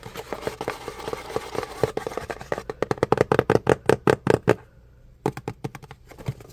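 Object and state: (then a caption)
Cardboard box, hollow. Fingernails tap and scratch the sides and edges of a hollow, printed cardboard box for an Intex electric pump as it is turned in the hands. A steady run of rapid, dry, hollow taps with a mid-pitched knock grows more distinct and louder in the middle, pauses briefly, then resumes with scattered taps and faint scratching.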